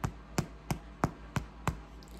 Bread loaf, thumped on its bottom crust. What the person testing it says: hear that hollow sound that means that all the moisture has come out of this bread and it is done cooking